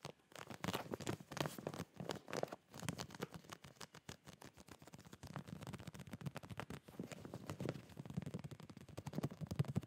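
Fingertips and nails tap and rub the surface of a full, clear plastic retail zip bag of folded boxer shorts held in both hands. The result is a quiet, rapid stream of short, dry taps and crinkly scratches with soft low thumps, each dying away almost instantly.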